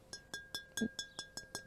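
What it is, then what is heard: Intact fired clay cooking jar. A fresh wheel-thrown black burnished (BB2) Roman-style fired clay cooking jar is held up and tapped eight times. Each tap gives a short, bright ringing "tingy" note with a steady high overtone, showing the jar is intact.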